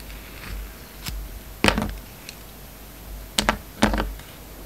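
A solid, hand-held rectangular bar of soap, with a red outer layer and a black-and-white striped core, has its surface shaved and scraped with the steel blade of a yellow utility knife. Short, crisp scraping strokes come in irregular bursts, each a dry, bright rasp that stops almost at once over a soft low background hiss.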